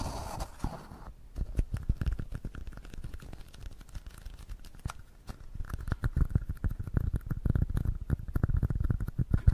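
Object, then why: Small plastic cup. Fingertips and short nails tap and scratch around the sides of a small, hollow, empty red plastic cup held in both hands close to the microphone. A rapid, uneven patter of dull, low, close-miked knocks mixes with soft scraping, each tap dying away almost at once. The tapping thickens and grows louder in the second half.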